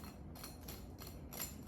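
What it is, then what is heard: Crispy panko-fried mushroom pieces. Crispy panko-battered fried lion's mane mushroom pieces, made as vegan "shrimp," are tapped to show their crunch, giving faint, dry, crackly taps over low background noise. The panko in the dry batter keeps them crispy rather than soggy once the sauce is added.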